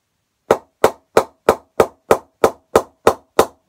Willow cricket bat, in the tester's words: decent ping in the middle